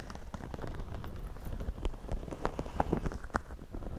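Fingertips scratch and pinch the brim and crown of a white wide-brim woven straw floppy hat worn on the head. The result is a steady, dense crackle of dry scratching with scattered sharp clicks, heavy in the low end and with no ring after each touch.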